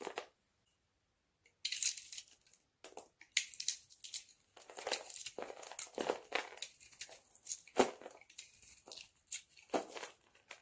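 A metal utility knife scrapes and cuts a hand-sized bar of dry purple-blue soap held in the palm, shaving layers that flake off. After a brief silent pause near the start, dense bursts of dry, bright, crackling crunches and scraping rasps follow one another closely.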